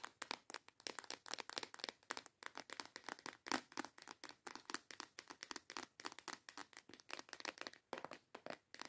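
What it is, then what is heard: Plastic box of nail tips. Long yellow acrylic nails rapidly tap and scratch the front of a small transparent plastic storage box full of colorful false nail tips. The result is a quiet, steady stream of crisp, bright plastic clicks with faint scratchy rustling between them and no low end. There is one slightly louder tap midway through.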